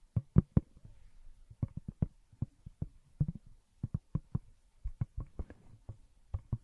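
Long nails tap the textured back of a smartphone in a pink glitter plastic case held up beside the mic. About 23 quick, dull, low-pitched taps land in an uneven rhythm with no ring, each one dying away at once.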